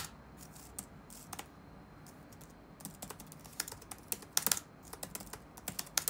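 Fingertips type rapidly on the black plastic keys of an open laptop resting on a wooden desk. About sixteen short, bright clicks land in an uneven rhythm over a quiet background, with a denser, louder burst of taps near the middle and a few sharper strikes at the end. Each tap dies away almost instantly with no ring.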